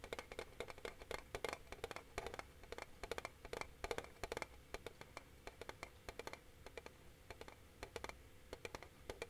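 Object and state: Metal tin box.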